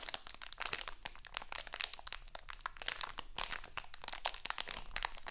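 A small printed crinkly plastic Halloween candy bag is held in both hands, crinkled and scratched with long acrylic nails. The result is a dense, continuous run of bright, sharp crackles and crinkles with quick scratchy ticks and almost no low end.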